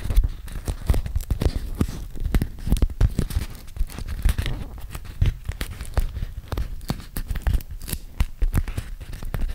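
A small, flat sheet of yellow beeswax-coated cotton food wrap with an animal print is held in both hands in front of a microphone, without touching it, as dark-polished fingernails pinch, crinkle and unstick the waxy fabric. A dense run of close, sticky crackles and crinkling snaps is heard, with sharp transients over a heavy, low-weighted rumble.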